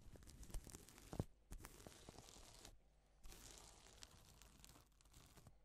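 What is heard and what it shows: Gloved fingers draw a strip across a flat, reversible pink and silver plastic sequin fabric sheet, flipping the sequins. The result is dense, crinkly, tearing-like rustling with bright hiss and small clicky bursts. The rustling comes in stretches separated by brief quiet pauses.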